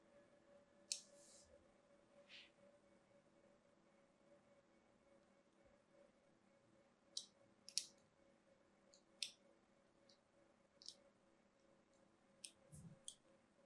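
Sharp, crisp scratches sound as a small metal blade carves crosshatch grooves into a cream-colored solid bar of soap held in the hand. Eight bright, short clicks and scrapes come irregularly over a quiet background with a faint steady hum. The finished, grooved bar results.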